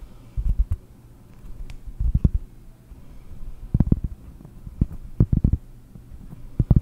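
Long painted nails scratch and then tap the surface of a large, round, solid cork trivet held in both hands close to the mic. Soft, muffled scraping gives way to clusters of short, dull, low-pitched knocks with almost no ring or high end.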